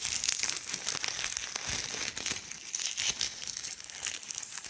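Gloved fingertips pinch and crumble small fragments of dried giant linden leaves further on a wooden slab. The result is a dense, continuous, bright crinkling and crackling with almost no low end, as many quick, overlapping snaps rise and fall in loudness.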